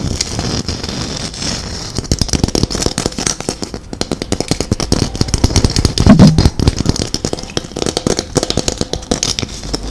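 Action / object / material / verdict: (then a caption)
tap / glitter-coated plastic Christmas ball / plastic / none. A hollow, gold glitter-covered Christmas ball ornament, about 8 cm across with a small metal cap, is held in both hands and tapped and scratched with long acrylic nails. Quiet scratching at first gives way to rapid, dry, crackling taps that stop short. The sound is heavy in the low end with a faint bright rasp above.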